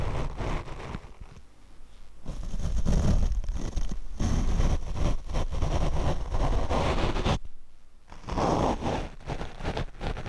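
The bristles of a large paint brush rub across the black foam windscreen of a small Rode shotgun microphone on a mini tripod, in steady brushing strokes. The close brushing makes a deep, muffled, scratchy rumble that swells and fades with each pass, with a brief near-silent pause before the strokes resume.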